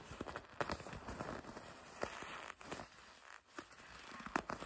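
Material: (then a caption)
Leather. Long red nails grip and scratch a red and black leather racing jacket with white stripes. Soft, dry crinkling and scratching is broken by sharp, brief clicks and creaks, some spreading bright across the spectrum, over a quiet, steady background.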